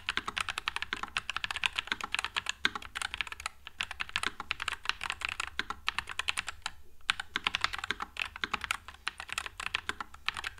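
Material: Plastic.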